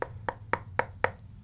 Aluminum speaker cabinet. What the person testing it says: pretty inert. It doesn't have a ringing, it doesn't have a hollowness to it.